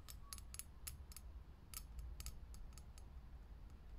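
A fingernail taps quickly on a lit, hollow, clear glass vintage filament light bulb, producing a rapid string of short, bright clicks with sparkly high-frequency edges. A steady low hum sits underneath throughout.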